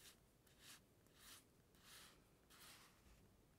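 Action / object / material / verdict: scrape / plastic comb on glossy paper page / glossy paper / none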